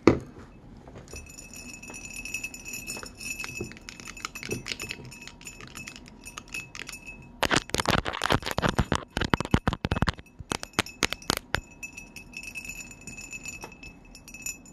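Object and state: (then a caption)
Ribbed glass bottle. Colored plastic-coated metal paperclips worn on the fingertips like long nails tap and scratch the ribs of a tall, pale green, ribbed glass bottle or jar that looks hollow and empty and is held in one hand. Soft scratches and light clinks run over a faint steady high tone, then a dense burst of sharp, bright clicking and clinking in the middle before it eases back to quieter tapping.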